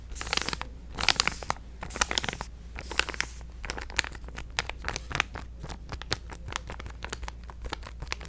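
A hand-sized purple resealable plastic supplement stand-up pouch is crinkled and scratched with fingertips and painted nails. Bursts of bright, crackling crinkles come in the first few seconds, then give way to a quick run of sharp, dry scratching ticks over a steady low hum.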